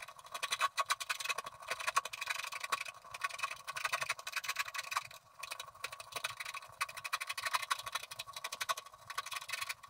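A wooden stylus scratches the left side of a coated scratch-art card resting on a table. The result is a steady, dense run of fine, dry scraping strokes, bright and papery with no low end. Quick short strokes keep coming throughout, with a few brief pauses.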